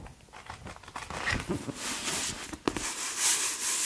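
A thick blue and white softcover paperback book, *Gestion Financière*, with a solid block of paper pages, is held in one hand while fingertips riffle and flip through the page edges and rub the cover. The result is a dry, crinkly papery rustle with soft taps, broken by one sharp flick. It grows brighter and louder into a hissy whoosh of fanned pages toward the end.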